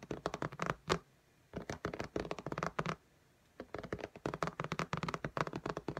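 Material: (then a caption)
Glass. Long nails tap and scratch quickly across the glass screen of an iPad lying flat in a pink case. About 32 short, dry clicks come in three rapid bursts separated by brief pauses, with little ring after each tap.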